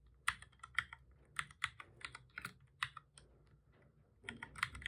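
Fingertips of both hands type on a black full-size plastic computer keyboard, making repeated key presses. Quiet, sharp plastic clicks with bright, crisp tops centered near 2 kHz die away almost instantly. They come in an uneven typing rhythm, with a brief lull before a final flurry of keystrokes.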